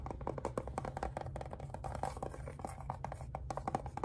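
Fingernails tap and scratch on the rim and sides of an opened, hollow pink plastic heart-shaped case holding small sticker items. A rapid, uneven series of short, hollow clicks with a mid-pitched knock rises over soft scraping and a steady low hum.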